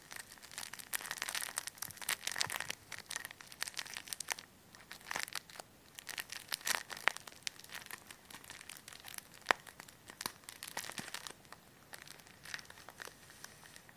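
A clear, thin plastic bag of white polyester fiberfill resting on a table is crumpled and scratched with fingertips and nails close to the mic. Dense, bright crinkling and scratchy rustles come in quick bursts with brief pauses, with almost no low end.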